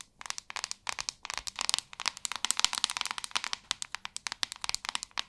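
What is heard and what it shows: Long nails tap and scratch on a white plastic paddle hairbrush with a hollow back and white bristles. The result is a quick, uneven run of dry, bright clicks and crackly scratches with almost no low end. Each click stops instantly, with no ring.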